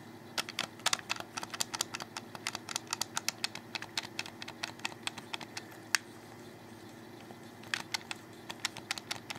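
A black, hollow plastic Xbox 360 controller is held in the hands while fingers click its buttons and handle the grips. The result is a rapid run of sharp, bright plastic clicks and clacks with no ring, pausing briefly near the six-second mark before resuming, over a faint steady low hum.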